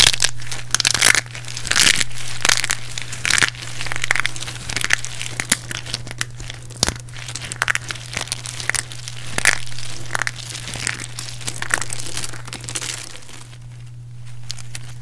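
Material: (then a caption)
Soap. A handful of small, solid, dry and crispy pieces of broken pink bar-soap spirals is squeezed and crushed between both palms and fingertips with long red-painted nails. Dense, bright, crunchy crackles and crinkles come in irregular bursts over a steady low hum. The crushing softens and quiets near the end.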